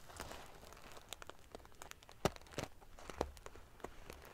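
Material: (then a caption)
Metal sequins. Fingernails flick and scratch the rows of silver metal sequins covering a large padded metal-sequin fabric pillow. The result is a quiet run of dry, crinkly ticks and scratches, with a few sharper, brighter clicks standing out near the middle.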